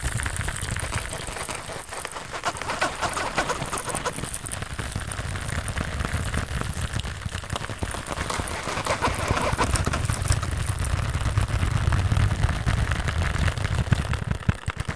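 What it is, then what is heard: Plastic pouch handled and tapped. A small, flat, iridescent holographic plastic or vinyl pouch is held in both hands close to the microphone while fingertips tap and scratch across its surface. The result is a dense, steady stream of crinkly, rustling handling sounds with a heavy low-end rumble, growing slightly louder in the second half.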